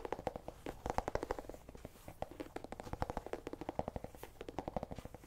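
Fingernails scratch and tap quickly across the ribbed skin of a small, whole, hollow orange pumpkin held in the hand. The result is a dense run of short, dry, hollow-sounding clicks with a woody midrange knock around 760 Hz, and each tap dies away almost instantly.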